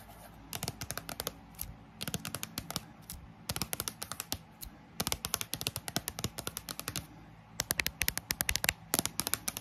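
Long acrylic nail tips tap fast on the glossy card cover of a thick paperback dictionary lying flat on a table, with its solid paper block underneath. The taps come in rapid, crisp bursts with a short, dry click and almost no ring. Pauses separate the bursts, and a fan runs steadily in the background.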